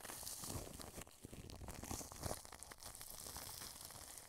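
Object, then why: Plastic cling film stretched over a microphone. A wide paintbrush brushes clear plastic cling film stretched over a white dome microphone. It makes a continuous close crinkling and crackling rustle with soft low thumps and a bright, hissy top, at a fairly steady, quiet level throughout.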